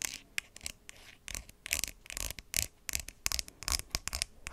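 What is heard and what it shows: Long white acrylic nails tap and scratch along the body of a hand-sized, hollow white plastic skincare squeeze bottle with a green flip cap, held near the microphone. The result is an uneven run of quick, dry, bright clicks mixed with scratchy rubbing strokes, each dying away almost instantly.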